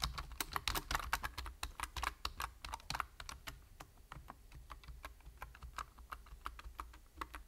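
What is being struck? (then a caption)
Plastic computer keyboard. Fingertips type rapidly on a full-size black plastic computer keyboard with a hollow body and plastic keys. The clip is a fast stream of short, bright key clicks that die away almost instantly, over a steady low hum. The typing is busiest in the first three seconds, then settles into a slightly lighter, even rhythm.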